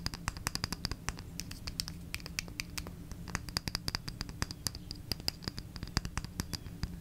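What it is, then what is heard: Glass jar candle. A small, lit red glass jar candle with a label, filled with wax and held in the hand, is scratched and tapped with long red acrylic nails. Dense, rapid, bright clicks and short scratches sit over a steady low rumble, each tap dying away almost instantly.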